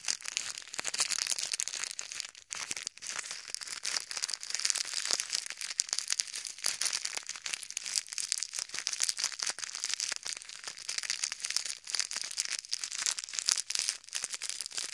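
A small clear plastic zip bag full of pink and white plastic pearl beads is held above silicone ear models and squeezed and kneaded between the fingertips of both hands, so the beads shift and the bag crinkles. A dense, continuous crinkling and rustling, bright and high with almost no low end, runs steadily through the whole clip with brief quieter dips near the start.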